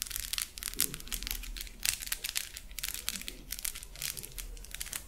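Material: Plastic.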